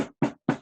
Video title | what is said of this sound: New Products Showcase | it is not squishy this is really hard